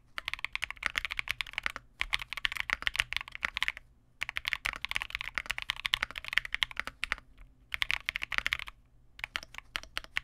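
A Vega65 65% mechanical keyboard with re-lubed Cobalt switches, white plastic keycaps and a dark case is typed on continuously with the fingertips of both hands. Rapid, bright, dry key clacks run in bursts of a couple of seconds, separated by brief pauses. Each keystroke is short, with no ringing tail.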